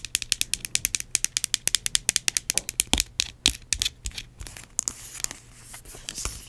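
Long acrylic nails tap and scratch on a small, filled, yellow plastic hand cream tube and its cap. A rapid run of dry, bright, clicky taps with almost no ring fills the first few seconds, then gives way to softer, hissy scratching near the end.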